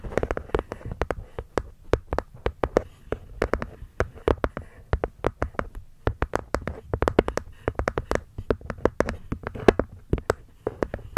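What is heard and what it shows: A wooden box is gently tapped with the fingers in a quick, uneven stream of soft, dry taps. Each tap is short and dies away almost at once, with a muted low-mid tone and little sharpness.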